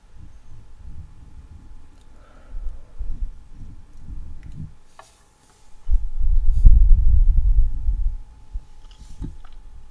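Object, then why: Steel mesh microphone grille. A hand grips and rubs a hollow steel mesh microphone head, then long nails scratch across the metal mesh. The result is deep, muffled rumbling and scuffing with a faint steady tone underneath. After a brief silence, the scratching swells loudest in the middle before easing back to softer rubbing.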